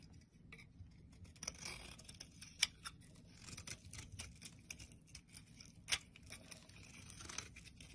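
A black blade scrapes the edge of a rectangular, solid white soap bar held in the palm, shaving off chalky flakes. The sound is a quiet, bright, dry scraping and crisp cutting with irregular soft strokes, plus a couple of sharper clicks.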